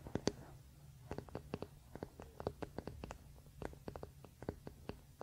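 Fingernails scratch and tap the solid wooden back and handle of a wooden paddle hairbrush lying on a blanket. Quiet, dry, clicky taps come in a quick, uneven series with faint scratching between them. Each tap dies almost instantly over a low, steady hum.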